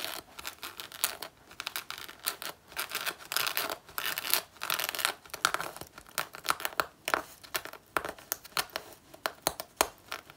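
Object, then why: Faux leather jacket. Long natural nails scratch and claw at the front panel of a black faux leather jacket worn on the body, where a patch of the surface is peeling. The result is a rapid run of dry, bright, crinkly scratches and tearing-like rasps, with quick bursts and short pauses, almost no low end and no ring.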